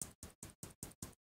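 Six separate taps on a single pole single throw relay, removed from a motorised projector screen's controller board, where it switches the motor on and off. Each tap gives a short, dry click with a bright high edge and no rattle inside. The relay is working and fine.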